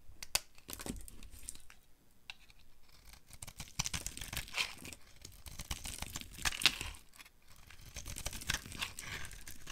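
A solid, pale yellow, oblong bar of dry soap is held in the hand and carved with a utility knife, its chips falling onto pink shavings. Crisp, bright scraping and crackling cuts come in quick irregular strokes, with sharp snaps and a soft patter of falling chips between them.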